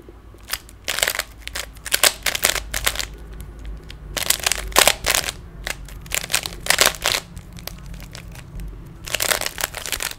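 A small solid plastic 3x3 Rubik's cube is held in both hands while fingers twist its faces. This produces quick bursts of bright, crisp clicks and rattles, some in rapid clusters, over a faint low hum. The clicks are dry and stop almost instantly.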